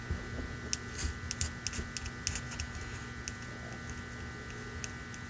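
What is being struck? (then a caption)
Ceramic mug. Long nails tap and scratch the side of a hand-held red ceramic mug lettered "Merry Christmas," which is hollow and apparently empty. A series of short, bright clicks and light scrapes rises over a steady low hum with faint constant tones, each tap fading almost instantly, and the sounds thin out toward the end.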